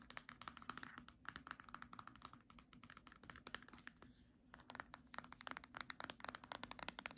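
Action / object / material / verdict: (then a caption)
tap / hardcover book with glossy paper cover / paperboard / none. Long nails tap rapidly on the spine of a small, solid green hardcover book with a glossy paper cover and scratch across the cover. The result is a quiet stream of short, dry, bright clicks and scratchy taps over a faint steady low hum, with a brief lull about two-thirds of the way through before the tapping picks up again.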